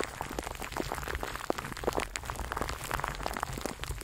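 A microphone wrapped in clear plastic cling film is held in both hands while fingers rub and crinkle the wrap. The result is a dense, continuous crackling made of many short, sharp pops over a low, steady rumble close to the mic. Brighter snaps stand out now and then.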